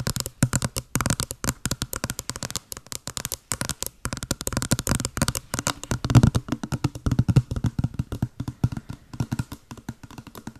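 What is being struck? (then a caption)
Small cardboard box. Long blue nails tap rapidly on a small, hollow, white patterned printed cardboard box held close to the mic. The result is a fast, steady stream of short, dry, hollow thuds with a low body and light clicky tops. Each tap dies away almost at once.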